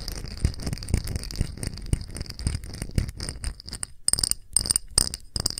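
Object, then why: Small clear glass dish. A small, round, empty clear glass dish with bead feet is held in both hands and tapped quickly with long nails. The result is a rapid, uneven stream of short clicking taps with dull low knocks and a thin, high glassy ping that dies away almost at once. Toward the end the taps come in sparser bursts with brighter chiming tones between short gaps.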